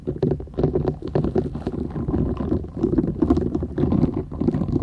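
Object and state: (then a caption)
Silicone scrubber sponge. Long nails scratch the short bristles of a flat, thin, solid purple silicone scrubber sponge held folded in both hands. The result is a dense, continuous scratchy rustle with a heavy low rumble underneath and rapid flicking bursts throughout.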